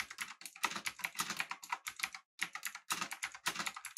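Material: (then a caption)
Plastic, aluminium. Both hands type with their fingertips on a full-size, backlit, typewriter-style mechanical keyboard with an aluminum body and round plastic keycaps. A rapid, steady stream of short, bright, clacky keystrokes follows, each dying away almost instantly with almost no low end. There is one brief pause near the middle before the typing resumes.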